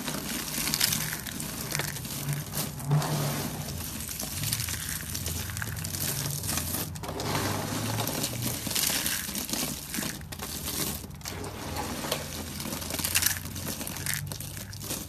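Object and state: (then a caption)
Dry soap shavings. Both hands grab, squeeze and crush a pile of thin, dry, curled soap shavings in cream, white and blue on a white surface, using fingertips and palms. The brittle curls crunch, crackle and break in a dense, steady stream of bright crisp snaps over a soft low rumble, with slightly louder bursts as each handful is pressed.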